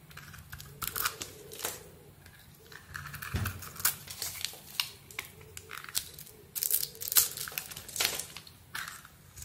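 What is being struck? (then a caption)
Solid soap bar scraped by a metal blade. An oval solid soap bar with a dark brown surface, pink veins and a pink interior is held in the palm while a metal blade shaves off its outer layer. Repeated short, bright scraping and cutting strokes crackle and crinkle over a soft, low background hum.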